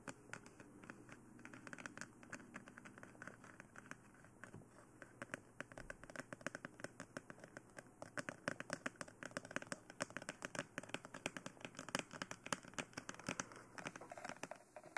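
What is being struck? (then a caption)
Plastic dummy head. Long manicured nails tap and scratch with both hands across the face, nose and forehead of a life-size, hollow, matte black plastic dummy head microphone (BE-1 binaural mic). A steady stream of quick, dry clicks and light scratches rides over a soft hiss, growing denser and sharper in the second half.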